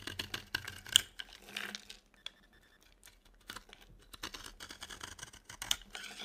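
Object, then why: Bar of soap scraped with a knife blade. A utility knife blade scrapes a dry, solid orange-yellow oval soap bar into thin strips, making quick, dry, crackly scratches with a bright, crisp edge. The scraping comes in bursts, goes almost quiet briefly in the middle, then picks up again in a steady run of short strokes.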